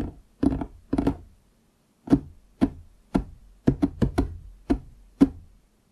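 Fingertips of both hands tap quickly on a large solid wooden desk top. Thirteen short, dull knocks land in an uneven rhythm, some in quick pairs and clusters, each with a warm low-mid thud that dies away almost instantly.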